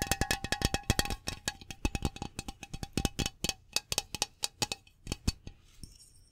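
Fingernails tap quickly along the body of a Glade aerosol air freshener spray can, a hollow metal can with a printed label, about hand length, held in one hand. Dozens of light, dry metallic clicks fall in an uneven rhythm, each with a brief hollow ping that dies away almost at once. The taps thin out toward the end, and a faint high hiss closes the clip.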